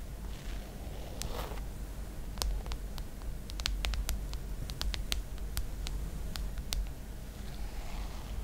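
Long black acrylic nails tap and trace across the flat, hard glass screen of an iPad lying flat with a face photo displayed. Soft brushing swishes at the start and end frame a run of quick, bright tapping clicks over a steady low background rumble.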